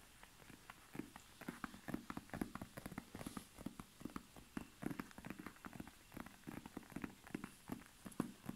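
Fingertips and nails tap and scratch the grey-blue snakeskin-textured leather face of a small, soft, padded zip-around wallet held in both hands. The result is a quiet, steady run of soft, dull taps with brief crisp scratchy clicks that stop dead with no ring.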